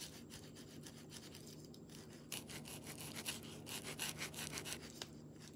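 A green marker tip is rubbed and scratched across a smooth, palm-sized solid river stone painted white with a mandala, resting on bubble wrap, while coloring. Quick, bright, scratchy rubbing strokes repeat at an uneven pace over a faint steady low hum. The strokes grow louder and busier after about two seconds.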